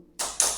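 Another spot on a ceramic floor tile is tapped twice, giving two short, bright clicks with almost no low-end body. The clicks die away quickly, and the tile sounds solid at this spot.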